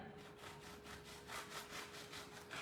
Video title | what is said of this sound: Eclairs au chocolat | vous entendez comme ça croustille